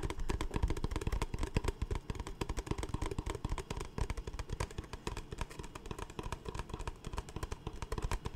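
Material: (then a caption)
Plastic. An empty, large, hollow, capped clear plastic Smartwater bottle is held in the hands and tapped and scratched with the fingertips and nails along its sides. Rapid, dense taps produce short, dull, low thuds with little ring, mixed with a faint hollow scratching texture that continues steadily throughout.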